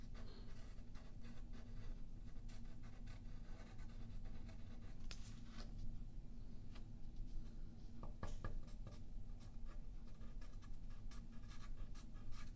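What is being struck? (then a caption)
Graphite pencil on paper sheet over wooden table. A yellow graphite pencil scratches drawing lines on a thin sheet of white paper lying flat on a wooden table, held in place by the left hand. Soft, dry scratching strokes with brief bright edges come and go over a steady low hum throughout the quiet clip.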